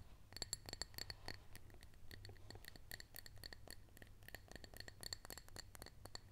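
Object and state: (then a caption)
Glass cup filled with lentils. Long acrylic nails tap and scratch the sides of a clear drinking glass full of dry lentils, held in both hands. The result is a rapid, irregular stream of sharp, bright clicks with a faint high glassy tinkle, mixed with scratchy scraping and a low background rumble.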